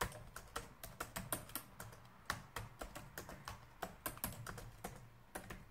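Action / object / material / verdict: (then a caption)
tap / plastic laptop keyboard keys / plastic / none. Fingertips type steadily on a black plastic laptop keyboard, producing a run of about two dozen short, crisp key taps. Each tap is bright and clicky with very little ring, over a soft low-end rumble.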